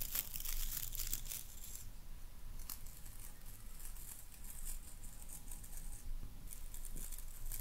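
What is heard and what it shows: Long nails rake and scratch across the boar bristles of a wooden-handled hairbrush, giving a crisp, crackling rustle with bright, high-pitched scratchy bursts over a steady low rumble. The scratching comes in uneven strokes, louder at the start and again near the end, and each one stops dry with no ring.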